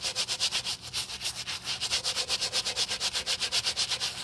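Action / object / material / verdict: scrape / rubber-soled leather sneaker scrubbed with a stiff bristle brush / rubber / none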